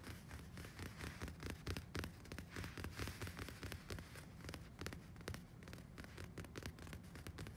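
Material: Woven fabric.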